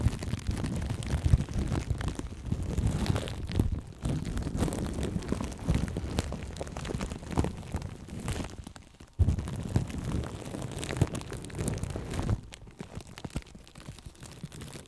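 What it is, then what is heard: Plastic cling film over a microphone. Fingernails and fingertips scratch and tap crinkly plastic cling film wrapped over a right microphone held in both hands. The result is a dense, continuous, mostly low, muffled rumbling crackle with many quick taps. It drops out briefly near nine seconds and grows quieter and sparser toward the end.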